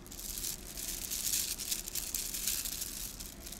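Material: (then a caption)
Plastic. A garland of small hollow gold plastic beads is held in both hands and squeezed, rolled and shaken. The beads clack together in a continuous, bright, high-pitched rattle with quick overlapping clicks. A faint low hum sits underneath.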